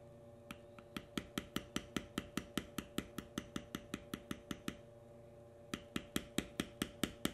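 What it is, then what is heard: Leather stamped with a steel beveler. A steel beveler, held in the fingertips, is tapped rapidly along the cut lines of a solid tan veg-tan leather panel with knotwork carving, resting on a stone slab. About thirty short, dry, clicky taps come at a steady rhythm in two runs with a pause between them, each decaying almost instantly. A faint steady hum sits underneath.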